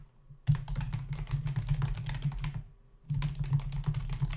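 Fingertips of both hands type rapidly on a full-size black plastic membrane keyboard with hollow keys resting on a dark desk. Two bursts of fast, dense key tapping are heard, with a short pause near the three-second mark. Each keystroke is a short, hollow, low thud centred around 145 Hz that dies away almost at once.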